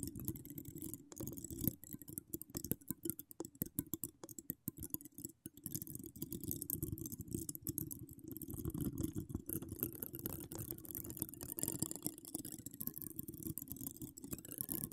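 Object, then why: Metal wire-mesh microphone grille scratched by long nails. Long decorated acrylic nails with charms scratch and tap across a bare, hollow metal wire-mesh microphone grille. The result is a dense, quiet stream of rapid scratches and short clicking ticks, with a warm, heavy low rumble beneath crisp bright crackle. The texture stays steady and continuous throughout.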